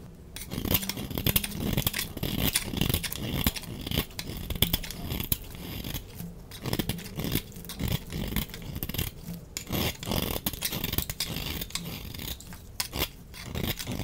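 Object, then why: Soap bar. A utility knife blade scrapes dry shavings off a solid purple oval soap bar with an embossed rose, held in the hand. Quick, uneven rasping strokes come in dense bursts, each a dry, crackly scrape with bright, crisp edges over a soft low rub.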